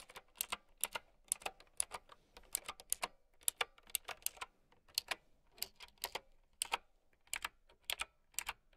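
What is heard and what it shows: Long nails type on a plastic mechanical keyboard with round keycaps, producing a steady run of sharp, clicky keystrokes. Each click is bright and dry and dies away almost instantly, with very little low end beneath the tapping.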